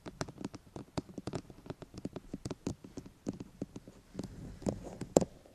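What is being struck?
Plastic microphone housing.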